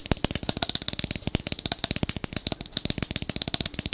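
Fingertips and nails tap and scratch the metal screw cap and neck of a large brown glass liquor bottle with a paper label, held close to the microphone. A rapid, uneven stream of short, dry clicks and scratches with bright upper content and almost no ring.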